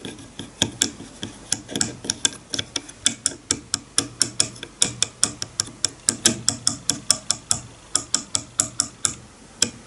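A wide-tooth wooden comb lying on a bamboo board has its teeth flicked one by one with a fingernail, producing a run of about 41 short, dry ticking plucks. Each pluck is bright and high with almost no ring, giving an irregular clock-like ticking rhythm.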